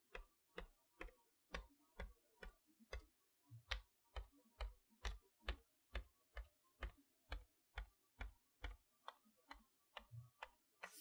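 Long nails tap across the front of a large cardboard chalkboard toy box, over its plastic window covering the magnetic letters. Twenty-four short, dry taps sound at a quick, fairly steady pace, each a dull low thud with a brief bright click on top and almost no ring.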